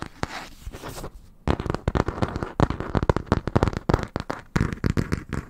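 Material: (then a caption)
Cardboard. Fingernails and fingertips of both hands scratch and tap the printed paper-covered board cover of a small, closed, yellow hardcover book held close to the microphone. A soft scratching opening gives way to a rapid run of dry, low, short taps with almost no ring.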